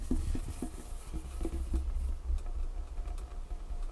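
Long painted fingernails tap quickly on a large, solid dark wood tabletop. The sound is a rapid run of soft, dull knocks with a deep low body and a faint light click on top. Each tap dies away almost at once.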